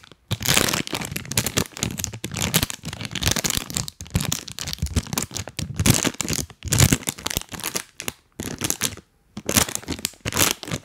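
A full, printed plastic cookie bag held close to the mic is crinkled and tapped with rubber toy hands. Bursts of dense, bright crackling and crinkling with soft low thumps come in quick clusters separated by brief silences.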